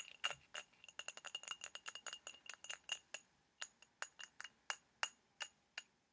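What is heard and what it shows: Fingernails tap quickly on a small, empty, hollow white ribbed ceramic ramekin, giving about 29 sharp, bright clinks. Each one rings briefly with a high, glassy tone, dense at first and then more spaced out.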